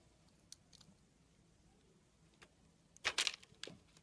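A small steel blade carves curls off a long solid red soap bar that is white inside. Faint, sparse ticks give way to a loud burst of bright, crackling scraping near the end, followed by a shorter crisp scrape. The sound is dry and high-pitched, with almost no low end and no lingering ring.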